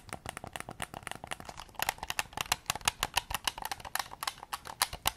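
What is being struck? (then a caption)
Plastic game controller. Fingertips tap rapidly on the back shell and triggers of a white PS5 controller made of hollow plastic, held close to the recorder. About thirty short, dry, clicky taps follow one another in an uneven rhythm, bright and crisp with little low end and almost no ring.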